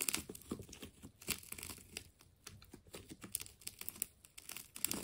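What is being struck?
Wound plastic tape ball.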